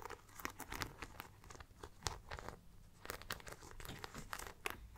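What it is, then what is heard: Studded faux leather crossbody bag. Long black-painted nails tap and scratch the metal-studded front panel of a small, round, brown faux leather crossbody bag, which is hollow and soft-bodied and held up close. Quick, dry clicking taps mix with crinkly, scratchy rubbing, all at a quiet level with no ringing after each touch.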